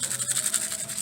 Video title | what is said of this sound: Dank Chili Powder | if you shake it up you can hear it's full of seeds